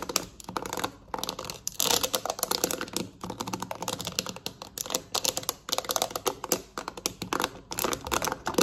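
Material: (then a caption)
Plastic. Long nails on both hands tap rapidly on the rubber buttons of a black plastic TV remote lying on a surface. The result is a fast, dense stream of short, bright clicks that sound like quick typing, with only brief pauses between bursts.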